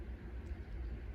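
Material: Nothing is struck.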